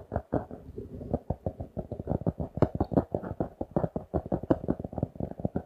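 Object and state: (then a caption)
Glossy cardboard notebook cover. A notebook with a glossy laminated cardboard cover, held in both hands, is scratched and tapped with fingertips and nails. Some 35 quick, dull taps come in an uneven, rapid rhythm. Each tap is short and muffled, with little high-end brightness, and rough scratching sits between them.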